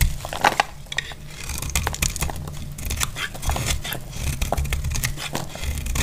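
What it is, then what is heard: Dry soap bar being shaved. A metal utility knife blade cuts and shaves a solid, dry, dark brown bar of soap held in the hand, letting crumbly curls fall off. The sound is a steady run of dry, crisp scraping and crumbly crackling with bright, sharp bursts over a low background rumble.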